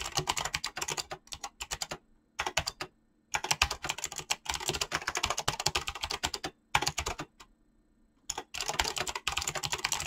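Fingertips type fast on a mechanical keyboard with clicky switches and PBT plastic keycaps. Rapid bursts of bright, crisp clicks come in quick runs broken by short pauses, with a faint low hum underneath.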